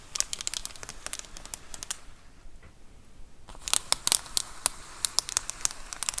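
Long acrylic nails scratch and tap the textured, bubbled surface of a large white plastic Amazon Prime bubble mailer lying flat. Bright, crinkly taps and scratchy rustles come in quick, sharp bursts, with a quieter stretch of soft scratching in the middle before the crisp tapping picks up again.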